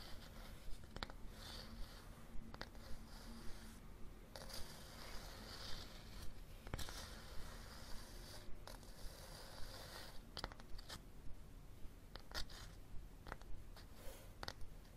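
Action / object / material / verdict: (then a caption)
scrape / cloth-covered hardcover book / cloth, board / none. Fingernails scratch and tap along the edge and cover of a red cloth hardcover book held horizontally. About 19 quiet, short, dry taps land roughly once a second over a continuous soft scratching and a low background rumble.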